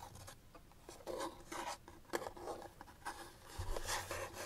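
Long nails tap and scratch along the sides and edges of a small, hollow white paperboard box held in the hands. Soft, dry taps alternate with papery scraping bursts and light rubbing over a quiet background, with a brief low thump near the end.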